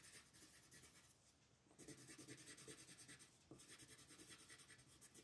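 A yellow wooden colored pencil held in the fingertips rubs and scratches across a thin printed paper mandala coloring book page lying flat on a wooden table. Quick back-and-forth strokes make a bright, papery scratching hiss in a steady rhythm. The strokes soften briefly about a second in before resuming and then pause for a moment again.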